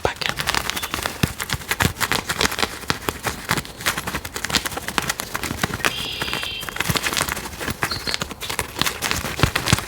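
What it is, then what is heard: Cork tapping. A cork object is tapped in a quick, steady run of short, dry knocks that sound much like clip-clop. The taps are crisp and bright with very little ring, and a faint high tone briefly sits under them partway through.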